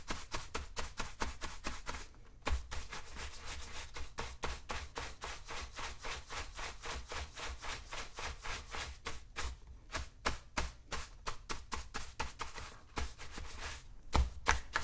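A tan leather boot, worn on a foot and resting on a shoe shine stand, is brushed at the toe and side with a wooden-backed horsehair brush held in one hand while the other hand steadies it. Quick back-and-forth strokes make a steady run of about 34 short, scratchy brushing swishes with a low, hollow thump underneath and a bright bristly edge. Slightly louder strokes come at the start and end.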